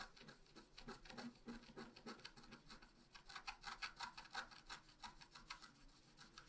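A wooden stylus scratches near the bottom of the design on a flat black-coated scratch art paper sheet. Quiet, quick, dry rasping strokes repeat at roughly three per second, with a bright, papery scratch and little low end.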